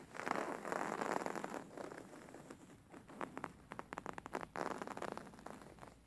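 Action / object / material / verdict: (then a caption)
scrape / stuffed linen cushion with stitched embroidery / linen / none. Fingernails scratch a stuffed, beige linen-like embroidered pillow stitched with square and circle patterns. The result is a dry, rasping fabric scrape centered in the midrange, with long sweeping strokes at the start and end and a run of short, quick scratches in between.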